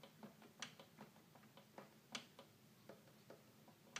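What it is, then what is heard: Plastic toy keyboard keys. Fingertips tap the keys of a hollow red plastic toy keyboard, making eight short, dry, bright clicks at an uneven pace. Each tap stops almost instantly, with a faint low hollow tone beneath it. The tapping stays quiet throughout.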